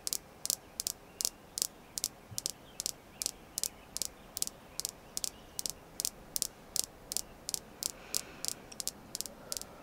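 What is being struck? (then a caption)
Small polished red jasper star. A fingernail taps on the faces and edges of a small, solid, polished red jasper star stone. Around thirty short, bright clicks come at a brisk, slightly uneven pace with almost no ring and very little low end, over a faint hiss.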